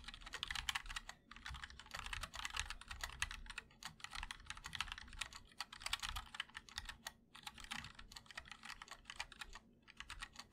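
A 60% MOD-L Linear mechanical keyboard with ABS keycaps in a black aluminum case, with white and black keycaps, is typed on continuously with the fingertips of both hands. Fast, bright clacking keystrokes come in dense bursts with short pauses between them, over a soft low thump from the case.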